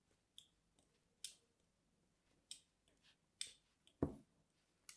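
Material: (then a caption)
Soap. A palm-sized, solid white bar of soap is held in one hand and scored with the pointed tip of small scissors or a blade, scratching lines into its surface. Six short, crisp scraping clicks stand out against quiet, with bright, brief transients and a heavier, lower scrape near the end.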